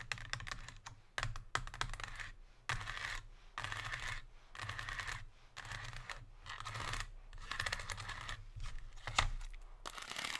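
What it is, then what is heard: Metallized plastic chocolate tray. Long pink nails tap rapidly on an empty, silver metallized plastic chocolate tray with chevron ridges, resting on a table. Quick, dense bursts of crisp, crackly plastic clicking come in clusters separated by brief pauses, with a low hum underneath.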